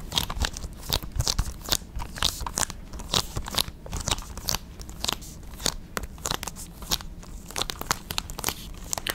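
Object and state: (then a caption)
Plastic video game case. A small hollow plastic PS5 game case for God of War Ragnarok is held in both hands near the microphone and quickly gripped, rubbed and scratched with long red nails. The result is a dense run of sharp, bright clicks, crackles and scratchy crunches with very short decay over a soft low rumble.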